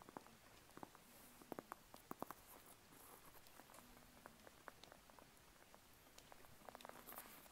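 Long polished nails scratch and tap on the peel of a small whole unpeeled mandarin orange held in the hand, close up. Soft, dry clicks and crisp little taps sound over a quiet, rustling scratch of the dimpled skin, with brief bright sparkles now and then. Each tap dies away almost instantly.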